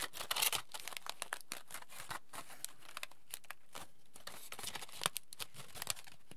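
A thin, crumpled sheet of aluminium foil is held in both hands, unfolded and crinkled with the fingers. It gives quiet, dense bursts of sharp, bright crackles and crinkles with short gaps between them, each snap dying away almost instantly.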